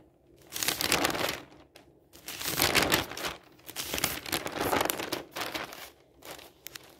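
Fingers quickly flip the pages of an open newsprint newspaper on a table, crinkling the thin paper. Bright, rustling crinkles come in uneven bursts lasting a second or so each, with brief quieter gaps between page turns.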